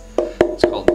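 Four knocks on a sanded plywood instrument body give short, woody, resonant tap tones with a clear pitch around 350 Hz and brief ringing after each hit. The good tap tone shows the instrument will sound good once assembled.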